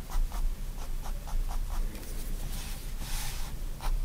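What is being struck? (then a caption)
Pen nib on sketchbook paper. A pigment liner pen makes many quick, short hatching strokes on spiral sketchbook paper, shading the fingers of a drawing. The strokes sound like a steady run of soft, dry scratches over a low background rumble, with a longer, brighter scratch near the end.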